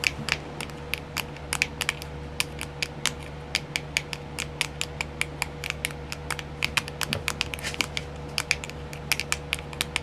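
Long silver-painted nails tap and scratch the lid of a small, round, clear plastic compartment wheel case filled with colored rhinestones. Rapid, sharp, bright clicks with almost no ring sound over a steady low hum and a faint tone near 500 Hz.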